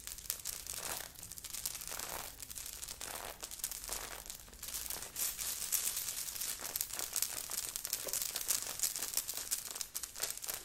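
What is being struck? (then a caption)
Knit sweater with sequins. Long nails of both hands scratch quickly over a worn grey knit sweater with a beaded, sequined heart on the chest. A dense, bright, crinkly scratching and rustling runs steadily throughout, with little low end.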